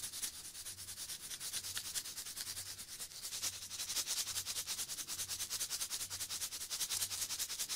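Fingers rub and scratch a small red Pringles tube, a hollow composite cardboard can with foil lining, held in one hand close to the mic. Quick, steady strokes make a bright, hissy scratching that keeps going for the whole clip, growing slightly louder toward the end.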